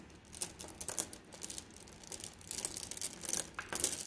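A fist-sized bag of flat blue glass gems in a white plastic net is squeezed and kneaded with both hands. The gems make quick, bright clinks and clicks over a soft crinkling rustle. Each clink dies away almost at once.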